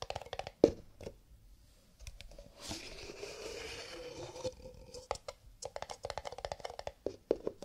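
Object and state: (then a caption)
Cardboard paper cup. Fingertips tap rapidly on cardboard paper cups, giving crisp, dense, hollow taps with a mid-range body. In the middle, the tapping gives way to a softer, continuous scratchy rustle before quick tapping resumes.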